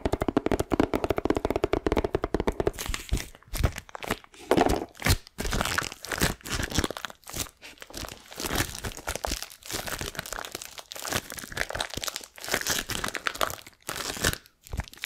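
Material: Plastic film.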